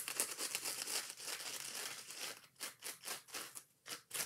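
Long nails scratch the green scouring pad and yellow foam edges of a kitchen scrub sponge held in both hands. Dense, bright, crinkly scratching runs continuously for the first two seconds, then breaks into quick separate strokes with short gaps between them.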